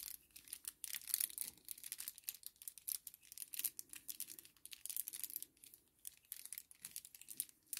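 A small, flat kraft paper sachet lying on a table is folded and crinkled with fingertips. The result is a quiet, continuous run of crisp, bright crackles and rustles in uneven bursts, with almost no low end.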